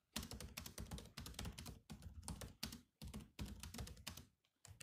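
Fingertips type on the black plastic keys of a grey laptop keyboard, with one hand briefly lifted. Quick runs of crisp, clicky taps combine bright key clicks with soft, low thuds. The bursts are separated by short pauses in a quiet background.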